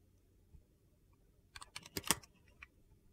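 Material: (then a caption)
Glycerin soap. A utility knife blade scrapes and carves thin layers from the surface of a solid, translucent glycerin soap bar with colored streaks, held in the hand. After a quiet start, a cluster of short, crisp, high-pitched scraping clicks comes in about 1.5 to 2.7 seconds in, peaking near 2.1 seconds.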